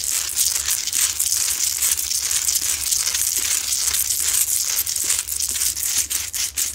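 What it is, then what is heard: Salt rock lamp being scratched. Long nails scratch fast and hard across a lit, medium, solid Himalayan salt rock lamp with rough salt crystal. The result is a dense, continuous, bright raspy scratching with rapid gritty bursts and almost no low end, apart from a faint low hum underneath.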